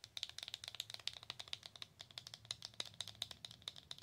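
A slim, long black-and-white printed Belle en Argent cardboard box, likely holding a cosmetic, is held in both hands and tapped and scratched with long acrylic nails. It gives a quick, steady run of about 29 quiet, dry, bright clicks, each with a high tone and almost no ring.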